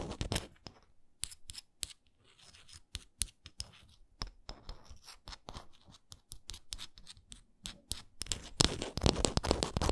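Long nails scratch the edges and printed face of a small, solid, printed wooden Canada souvenir ornament. Dry, crackly scratching comes in short, irregular strokes mixed with quick tap-like clicks. The strokes grow denser and louder near the end.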